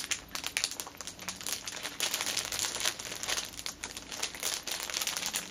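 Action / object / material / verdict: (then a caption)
scrape / thin plastic cellophane wrapper / plastic film / none. Long painted nails and fingertips scratch and tap a flat orange fitness band sealed in a thin clear plastic cellophane sleeve lying on a fabric cushion, then press along one edge. A dense, bright crinkling and crackling of the film runs throughout, with quick taps and almost no low end.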